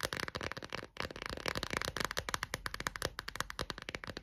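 An empty clear textured plastic phone case is held in both hands while long nails scratch and tap quickly across its back and edges. The result is a dense run of sharp, bright clicks and scratchy rasps with almost no ring, broken by a brief pause near the one-second mark.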